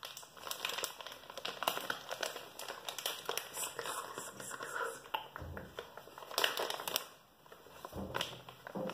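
A hand-sized soft plastic-film pouch of baby wet wipes, filled with wipes and fitted with a rigid green plastic flip lid, is held in both hands while short fingernails tap and scratch the lid and the crinkly film. The result is a steady run of quiet, bright crinkling and crackling, with quick dry taps and scratches that cut off almost at once. The sound sits mostly in the upper range and has very little low end.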